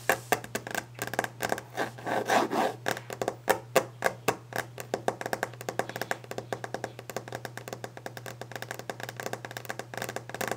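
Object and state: Varnished wooden desk top.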